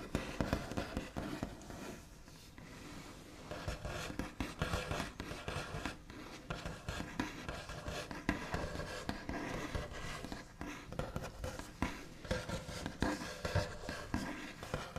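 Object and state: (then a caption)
Wooden tabletop. The backs of the fingernails of both hands do scratchy tapping and tracing across a large, flat, solid wooden tabletop with a smooth white finish. Quiet, dry clicks and rasping scrapes come in quick, uneven bursts, with a softer, smoother tracing stretch near the start. The taps die away almost at once and the sound stays mostly low and mid-toned, with little bright edge.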